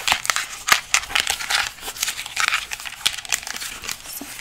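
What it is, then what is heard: Plastic skeleton hand tapped and scratched with nails. A life-size white plastic skeleton hand prop is held up in both hands while long nails tap and scratch across its palm and finger bones. The result is a quick run of dry, bright clicks and crinkly scratches, mostly high in tone, with almost no low end and very short decay.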